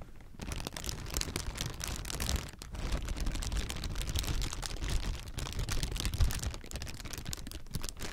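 Clear, hollow, air-filled plastic air-pillow packing is crumpled and squeezed between the fingertips of both hands. The result is a continuous, dense crinkling with rapid crackles over a heavy low rumble, with a brief dip in the sound around the middle.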